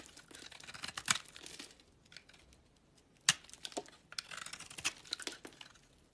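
A utility knife blade scrapes and carves flakes off a small, solid, translucent amber glycerin soap bar with green edges, held in the hand. Bright, dry scraping and crisp crackling snaps come in irregular bursts, with a few sharp clicks standing out near the 1, 3.3 and 4.9 second marks. Short pauses fall between the cuts.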